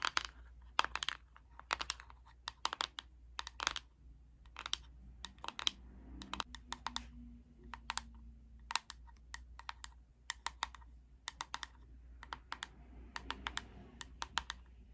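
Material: Plastic.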